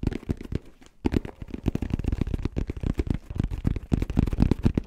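Fingertips tap rapidly on a hollow, black, rounded, fabric-covered hard-shell headphone case, producing a fast, uneven stream of short, dull, low thuds. Each tap dies away almost instantly. A brief pause around the one-second mark interrupts the otherwise continuous tapping.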